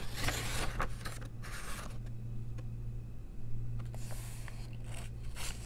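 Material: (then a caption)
Paper. Long nails slide and scratch across the pages of an open paper coloring book and turn them over. Bursts of bright, papery scraping rise and fall over a steady low hum. Softer quiet stretches fall between the page flips.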